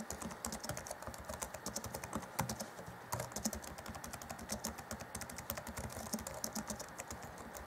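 Fingertips of both hands rapidly tap the black plastic chiclet keys of an Acer Chromebook C20 (2014) laptop keyboard. The result is a quiet, steady stream of short, dry clicks with bright key-snap tops and soft low thuds. A few taps land harder than the rest.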